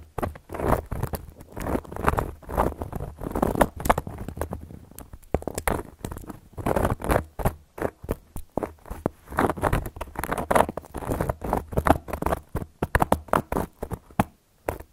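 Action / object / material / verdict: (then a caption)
scrape / cork board scratched and tapped with metal nail caps / cork / none. Long gold metal claw nail caps scratch and tap across a round, flat, solid cork board. The result is a dense, dry patter of soft scratchy taps and short rasping strokes, with a muffled midrange tone, no ring, and a faint low hum underneath.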